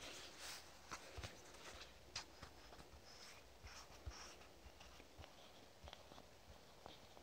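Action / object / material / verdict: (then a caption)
tap / soft plastic squeeze tube / plastic / none. A lavender soft plastic squeeze tube is tapped and scratched with fingernails. Quiet, close, scattered sharp clicks and soft scratchy rustles with a bright edge sit over a faint low hiss, each tap dying away almost at once.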